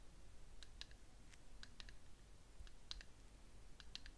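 Fingernails tap the side of a small ceramic cup-shaped candle jar, filled with wax and burning, held in the hands. The result is a scattered series of quiet, short, sharp clicks with a bright ring around 2 kHz that dies out almost at once, over a steady low rumble.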